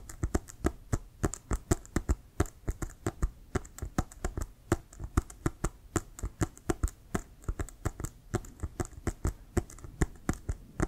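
Fingertips and nails tap rapidly on a hollow, inflated brown leather Wilson American football. About 57 quick, dry taps with no ring land in an uneven rhythm. Each is a soft, low, hollow thud with a faint bright click on top.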